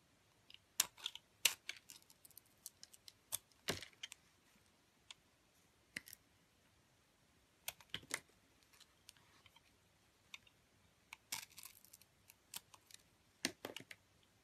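A metal utility blade shaves the remaining coating off a white bar of soap with glitter edges. The cuts come as quiet, sharp, crisp scraping clicks, bright and high with almost no low end, arriving in irregular bursts separated by near silence.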